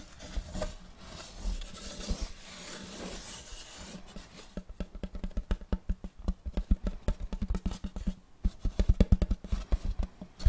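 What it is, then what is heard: Wooden serving board. A large, solid, round wooden serving board with a checkered end-grain pattern is held upright close by and scratched and rubbed with fingertips and nails. For the first four seconds there is a steady, breathy rubbing hiss across the surface. It then changes to a quick run of short, dry scratching strokes with a deep, woody thump, growing louder toward the end.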